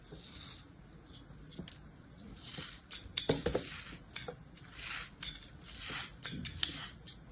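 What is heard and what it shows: A small solid mound of beige kinetic sand held in an open palm is sliced and scraped repeatedly with the thin blade of an orange plastic craft knife. Soft, grainy cutting and rubbing strokes swell and fade in a bright hiss, with a few sharper ticks standing out along the way.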